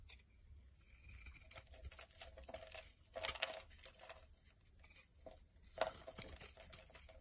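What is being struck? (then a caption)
Bar of soap. A black utility knife blade scrapes and chips a solid, palm-sized, oval pink-and-white striped bar soap held in one hand, and crumbly flakes pile up on a wooden surface. Quiet, dry scraping and crunchy crinkling run throughout, with a bright, crackly texture and a few louder chipping bursts.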